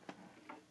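Two light metallic taps ring briefly against the die-cast metal feet of an S.H. MonsterArts Gigan (2004) action figure. The feet are metal rather than plastic like the claws, and they support the figure's weight.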